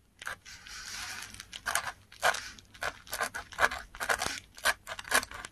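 A metal dip pen nib scratches across the fibrous surface of a flat sheet of textured Korean paper while writing Korean letters. The result is a string of short, dry, bright scratching strokes at an uneven pace, with one longer steady scrape near the start.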